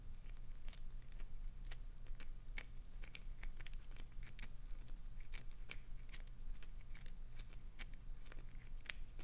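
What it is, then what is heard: Glycerin soap bar scratched with nails. A clear green solid glycerin soap bar is held on its edge while long acrylic nails scratch and dig into its face. Many quick, dry, bright scratches and crinkly clicks sound over a quiet, steady low hum, and shavings fall from the bar.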